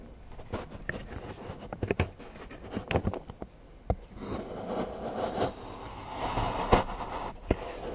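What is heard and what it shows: A large steel knife shaves and scrapes the edge of a solid milk chocolate bar into curls on a patterned board while fingertips hold the bar. Soft, low-mid scraping runs throughout, with a rougher, fuller grinding patch in the second half. Sharp, quickly fading clicks are scattered through it.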